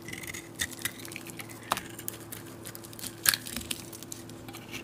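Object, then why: Bar of soap cut with a knife blade. A utility knife blade shaves flakes and chunks off the surface of a solid cream bar soap held in the palm. Soft, irregular scraping is punctuated by a few sharp, bright clicks over a faint, steady low hum.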